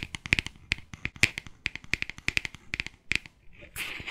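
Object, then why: Glass spray bottle. Long nails tap rapidly on a clear glass spray bottle with a white cap, held horizontally, producing about twenty sharp, bright clicks with a short glassy ping near 2.4 kHz. The taps are dry and quick-decaying, and the clip ends with a brief, noisy scratch across the glass surface.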